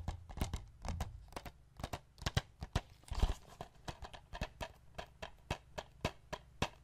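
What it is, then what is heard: Plastic DVD case. Fingertips and nails tap the front and edge of a hollow white plastic Forrest Gump DVD case, first lying flat on a wooden chest and then held up on its edge. The result is an irregular run of short, dry clicks with a low, hollow thump beneath them. A brief brushing scrape sounds near the middle.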